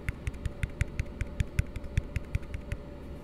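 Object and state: Empty plastic cup.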